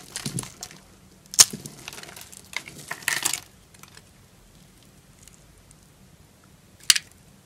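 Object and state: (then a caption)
Dry bar soap cut into cubes. A knife blade cuts and crumbles cubes off a green solid bar of dry soap, already scored into cubes, held in the palm. Bright, dry crunching and crackling snaps come in short bursts, followed by a quiet stretch and one last sharp crack near the end.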